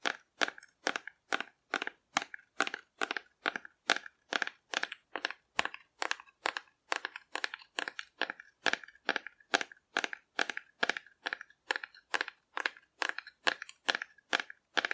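Long nails scratch and tap a hollow painted cardboard dinosaur held upright, making a steady, fast run of short, dry, crunchy bursts about two per second. The bursts are bright and papery, centered in the midrange with almost no low end, and each one stops abruptly with no ringing.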